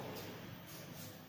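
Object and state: Nothing is struck.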